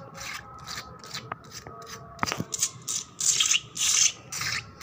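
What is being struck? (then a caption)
Painted concrete floor scratched with nails. Long black nails and fingertips scratch fast across a solid, wet painted concrete floor with a puddle on it. The result is a series of irregular, bright, hissy scraping strokes, about two per second, with a few sharp clicks in between and the later strokes louder and longer.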